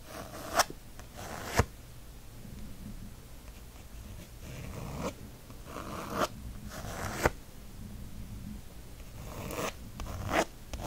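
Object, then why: Faux leather planner cover. Fingernails scratch quickly and firmly across the textured faux leather cover of a disc-bound planner printed with book spines. The result is a dry, rasping scrape, broken by occasional sharp, brighter strokes that stand out above the steady scratching.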